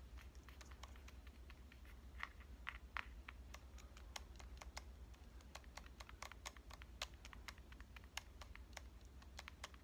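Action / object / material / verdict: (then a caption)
tap / small metal-fronted compact camera / metal / none. Long dark nails tap rapidly across the metal-finish front and lens ring of a small, hollow pink Canon compact camera held upright. The steady stream of quick, dry, bright clicks dies away almost instantly, over a constant low hum.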